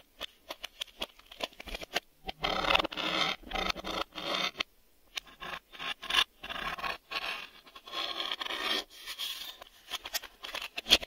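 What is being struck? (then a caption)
Hard-plastic VHS video cassette. Fingertips and nails scratch and tap the hollow front face of a black hard-plastic VHS video cassette, across the shell and label windows. Bursts of bright, dry scraping alternate with quick clicking taps, broken by short pauses.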